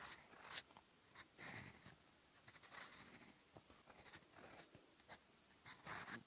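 A gold fountain pen nib, held by the fingertips, scratches across a lined cream notebook page in writing strokes. Short, bright, scratchy strokes come in uneven bursts over quiet paper rustle, with little low end.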